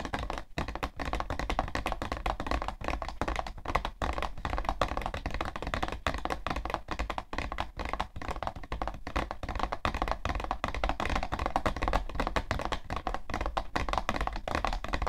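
Long nails tap rapidly and steadily on the side panel of a hollow, printed cardboard tissue box. The result is a dense, continuous stream of short, dull, hollow taps with a boxy low thump and a papery click around 1.1 kHz. The taps die away almost instantly and carry little bright content.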